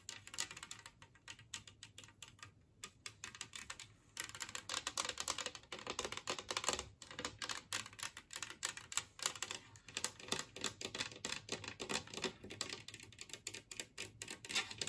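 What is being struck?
Glazed ceramic plate.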